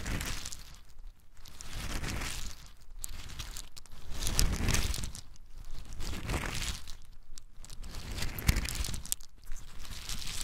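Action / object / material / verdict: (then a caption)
shake / in-shell pine nuts rolled in the hands / nut shell / none. Small, hard, brown in-shell pine nuts are rolled and shaken in cupped hands, then poured out. The result is waves of dense, bright rattling and crunchy clicking that swell and fade, with brief quieter gaps between handfuls.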